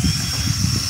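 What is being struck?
Nothing is struck.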